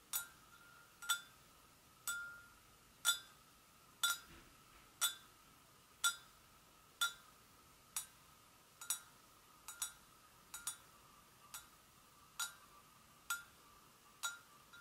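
Long nails gently tap the sides and handle of a hollow, empty white porcelain gravy boat, about nineteen times at a loose pace of roughly one per second. Each tap is a bright, clicky clink with a brief glassy ring near 3.5 kHz and a faint sustained tone around 1.3 kHz. The taps stand apart against a quiet, steady background.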